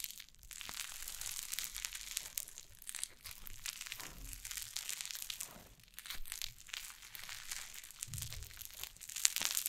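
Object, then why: Cloud slime pressed and stretched on a wooden table. White cloud slime on a wooden table is pressed with fingertips and long nails, then lifted and pulled apart. It gives a steady stream of soft, bright crinkling and crunching with quick, dense crackles and faint tearing sounds. The texture stays mostly high and airy throughout, growing slightly louder near the end.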